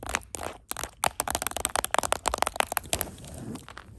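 Long acrylic nails tap and scratch on a small, round, hollow blue plastic Ice Breakers Mints container held in the hand. The result is a rapid run of crisp, bright clicks and crackly scrapes with almost no ring, ending in softer, steady scratching.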